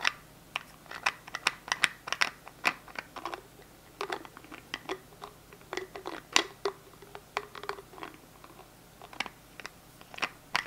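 A small translucent plastic hand sanitizer gel bottle is held in the hands while the fingers click its flip-top cap open and shut. Many short, sharp, bright plastic clicks and snaps come in uneven bursts over a quiet background. Each click dies away almost at once, with almost no low end.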